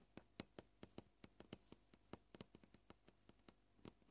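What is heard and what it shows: Short purple-painted nails tap the edge and surface of a solid white plastic cutting board, making 19 gentle, quick clicks at an uneven pace. Each tap is a dry, hollow tick with a low-mid body and a faint bright edge that dies away almost instantly.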